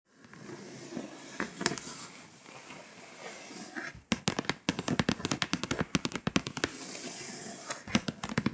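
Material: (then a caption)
Foil paper. Long pointed acrylic nails scratch and tap across the foil-coated surface of a flat printed scratch-off world map poster showing Europe, lying on a table. A steady, bright, dry scraping rustle runs for about four seconds, then gives way to a quick run of sharp, clicking taps mixed with scratches. The clip ends with more continuous scraping.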